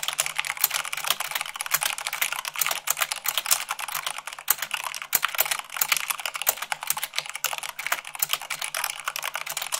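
Long pink-nailed fingertips type fast, at about 98 words per minute, on a full-size mechanical keyboard with white plastic keycaps on a black frame. It makes a dense, continuous stream of crisp, bright key clacks with very short decay and almost no low end.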